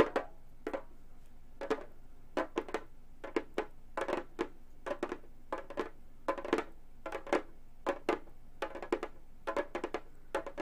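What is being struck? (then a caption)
Frame drum with synthetic head, tapped with metal finger claws. A round, hollow Remo frame drum with a synthetic head is tapped with long gold metal finger claws, one hand lifted at the start. Quick, dry taps come in uneven clusters, each with a hollow midrange thump and a bright clicky edge that dies away almost at once over a quiet, faint low hum.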